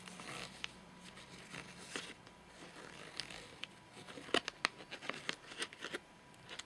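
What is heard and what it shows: A fingernail scratches and taps the top edge of a full, flat rectangular nougat bar in a crinkly plastic wrapper. Soft scratchy rustling gives way to a series of sharp, bright plastic clicks and crinkles that stop almost instantly, over a faint steady hum.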